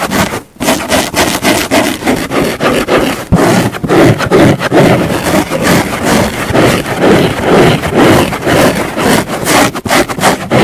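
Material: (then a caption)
Foam. A large, flat, pink, fine-pore foam car sponge lies on a wooden table with a microphone resting on top, and long nails and fingertips scratch and drag across it. This makes a steady run of close, dry, rasping scrapes at about two strokes per second. Each stroke is a broadband scratchy burst with a bright hiss, and the strokes run together with almost no pause.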